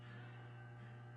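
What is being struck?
Nothing is struck.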